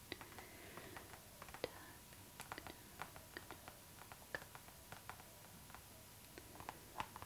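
Long acrylic nails tap and scratch the glossy surface of a clear pink PVC zipper pouch lying flat, its hollow, soft plastic giving a quiet, irregular run of short, dry clicks. Between the sharp taps come faint, soft scratching rasps over a low, steady hiss.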